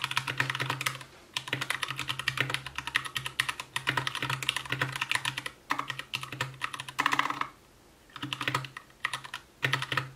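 Fingertips of both hands type continuously on an Anne Pro 2 60% mechanical keyboard with Gateron brown switches, white plastic keycaps, a translucent case and RGB backlight. Fast, bright plastic clacks run in bursts with short pauses, each keystroke dying away almost instantly over a faint steady low hum.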